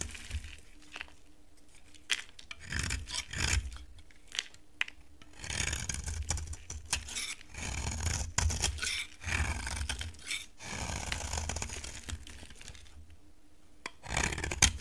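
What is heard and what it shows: A solid, dry cream-colored oval bar of soap is shaved along its edge with a utility knife. The blade gives repeated dry, crisp scraping strokes with bright rasping texture and low rumbling underneath, separated by short quiet pauses.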